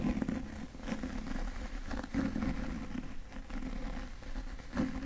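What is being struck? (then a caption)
Cloth-bound hardcover book. Fingertips grip and rub or scratch the cover and edges of a solid, medium-sized yellow cloth-bound hardcover book held upright in both hands. The result is a soft, muffled, low-heavy scratching texture with a faint tone around 240 Hz and almost no high content. Several brief louder scrapes stand out against a steady rubbing bed.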